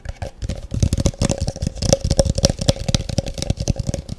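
A large, hollow, empty translucent frosted plastic cup is held up close and tapped fast with the long fingernails of both hands. The result is a rapid, uneven flurry of short, dull knocks, heavy in the low end, with a faint hollow ring around 550 Hz that dies away almost at once.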